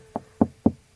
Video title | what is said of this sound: Whole Home Audio Start 2 Finish EP2: Location Prep, Running 1st Keypad, WIFE Cuts WHOLE In Wall! | if I knock right here, you can hear that this is solid right here